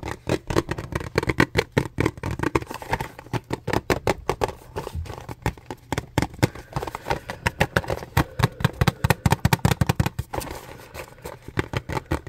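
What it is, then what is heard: Cardboard product box. A small, hollow, light blue and white printed paperboard box is held in both hands and tapped and scratched with fingertips and nails. Rapid, dull, hollow taps patter in quick, uneven bursts over soft scratching, with a low-heavy thump and very short decay.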